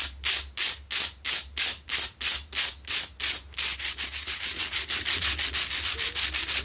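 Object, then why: Salt rock lamp. Long nails scratch fast across a medium, solid, rough Himalayan salt crystal rock lamp that is lit, making bright, hissy scraping strokes. About 25 strokes are heard: slower, evenly spaced ones at first, then quicker, shorter ones in the second half.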